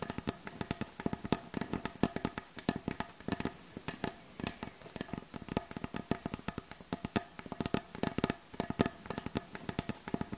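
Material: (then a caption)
Wood. Long acrylic nail tips on both hands tap fast across the solid, light-colored surface of a wooden butcher block board. The result is a rapid, uneven patter of short, dry clicks with a woody low-mid knock, each one dying away almost instantly.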